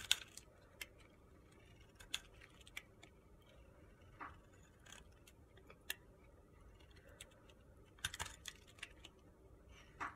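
A utility-knife blade shaves the surface of a narrow, solid, pale pink soap block held in the hand. The sound is quiet, bright, crisp scraping with sharp, short ticks and crackles scattered over a faint low hiss.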